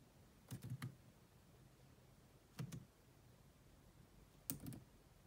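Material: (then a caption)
Plastic. Long manicured nails and fingertips rapidly tap the dark plastic chiclet keys of a grey, hollow-bodied laptop keyboard. Seven short, dry clicks come in three quick bursts of three, two and two, each with a dull low thud and a faint bright tick. Each click dies away almost at once, leaving a quiet, steady background between bursts.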